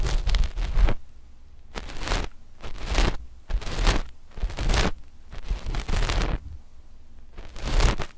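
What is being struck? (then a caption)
Knit fabric over a microphone. Long fingernails of both index fingers scratch a flat sheet of dark knit fabric stretched over the microphones. The result is a series of rasping, rustling scratch bursts with a bright hiss on top and a heavy low thump beneath, separated by brief quiet gaps.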